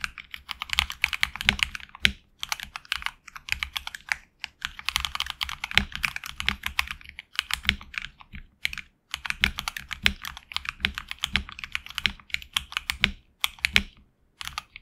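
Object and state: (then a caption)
Mechanical keyboard with PBT keycaps. A HyperX Alloy Origins Core mechanical keyboard with HX Red switches and backlit black and red PBT keycaps is typed on with fingertips. Fast bursts of bright, crisp clacks come in quick runs, broken by short pauses, and each keystroke dies away almost instantly with a faint low thock beneath.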